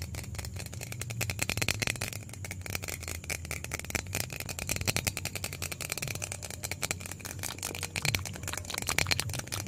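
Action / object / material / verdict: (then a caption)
shake / small plastic bottle / plastic / none. A small white plastic bottle is shaken vigorously by hand close up, giving a fast, continuous bright rattle with a steady low rumble underneath. The dense clicks run throughout without a break.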